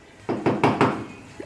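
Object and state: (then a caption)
Hollow wall with no pipe behind it. Four knocks on a condo wall or ceiling, checking for a pipe before mounting something, give hollow, mid-pitched thuds that fade quickly. The surface sounds empty, with no pipe behind it.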